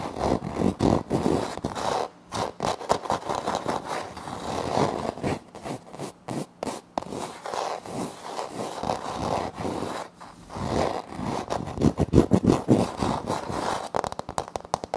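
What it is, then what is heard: Wood-look laminate floor. Fingertips and short nails from both hands scratch and scrape across a flat, solid wood-look laminate floor panel with a light wood-grain print. The result is a dense, crisp stream of short, dry scrapes in quick, uneven bursts, with brief pauses and little ring.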